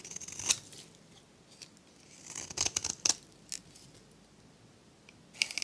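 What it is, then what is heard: Dry soap bar being shaved. A metal blade shaves strips from a dry, varnished solid soap bar with a turquoise face and magenta rim. The result is crisp, bright scraping and crackling cuts in irregular bursts, with almost no low end and quiet pauses between strokes.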